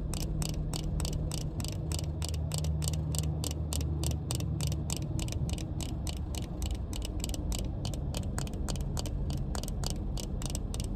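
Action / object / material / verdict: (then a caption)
tap / plastic sunglasses frame and lenses / plastic / none. Long painted nails tap steadily on a pair of sunglasses with a black plastic frame and tinted lenses, tapping both the frame and the lenses. The result is a fast, even run of light, bright clicks like a ticking clock, over a constant low hum.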